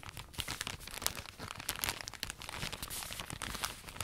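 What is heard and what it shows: A long cylindrical roll of cotton pads in thin, crinkly plastic packaging is held upright while fingertips and nails scratch and squeeze the plastic wrap. The result is a steady stream of quiet, bright crinkling and crackling, with many sharp little snaps that stop almost instantly.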